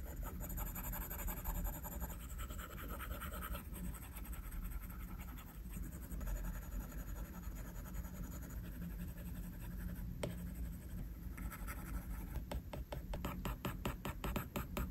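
The plastic tip of a stylus pencil is drawn in short scratching strokes across the flat, solid glass screen of an iPad lying on a desk, while the other hand's fingertips rest nearby. The result is a steady, dry scratching texture with bursts of quick, closely spaced strokes and a low, constant hum underneath.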